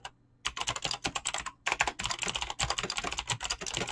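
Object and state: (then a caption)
Mechanical keyboard with plastic keycaps. A full-size mechanical keyboard with Razer clicky green switches and dyed PBT plastic keycaps, resting on a desk, is typed on fast with fingertips and short nails. Rapid, bright, crisp clicks run in continuous bursts, broken only by two brief pauses near the start and middle. Each keystroke is sharp and dies away almost at once.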